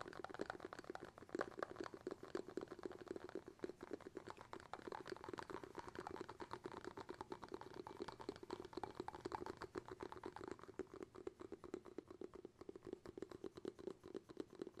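Fingertips tap rapidly and continuously on the round bamboo lid of a glass jar. The result is a quiet stream of short, dry, woody clicks with a midrange tone near 560 Hz. Each tap dies away almost at once.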